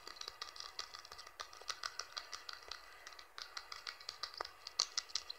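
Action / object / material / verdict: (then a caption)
tap / plastic smartphone back cover / plastic / none. Fingertips and nails tap rapidly on the plastic back cover of a blue Infinix smartphone lying on cloth. The result is a fast stream of short, dry, bright clicks and light rattling taps with almost no ring and very little low end.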